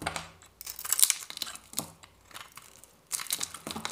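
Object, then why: Bar of dry soap with a varnished surface, scraped with a blade. A metal craft-knife blade shaves and scrapes a hand-held bar of dry soap with a painted yellow and white varnished surface, peeling off thin curls. It makes crisp, bright, crackly scraping and tearing sounds in quick bursts, with a quieter stretch before a final flurry of scrapes.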